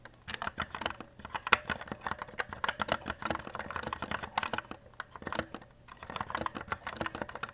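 Fingertips type rapidly on the plastic keycaps of a white E-Element Z-88 RGB mechanical keyboard. The result is a dense run of crisp, short clacking keystrokes with a bright mid-high tone and almost no low end. The typing breaks briefly around 1 second, 5 seconds and 6 seconds before resuming.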